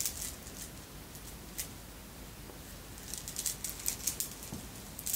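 A necklace of red and clear beads, apparently glass, joined by metal links, is gathered between both hands and shaken so the beads rattle. Quiet, bright, high clicks and ticks come in loose bursts, sparse at first and then busier toward the end. Each click dies away almost at once over a faint, steady low background.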